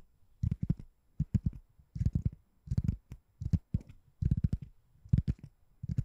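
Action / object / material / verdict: tap / foam or rubber door stopper / foam / none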